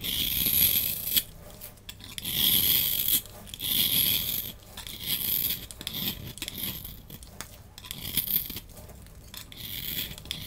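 A solid oval green bar of soap, held in the hand, is scraped with a utility knife blade, raising crumbly shavings. Bright, dry scratching strokes come in uneven bursts with short quiet gaps between them.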